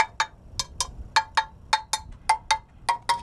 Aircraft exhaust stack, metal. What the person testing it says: if you tap it with a screwdriver if there's a cracked exhaust stack it goes clunk